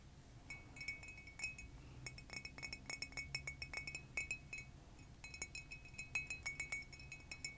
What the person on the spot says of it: This one has a lovely high-pitched sound as well.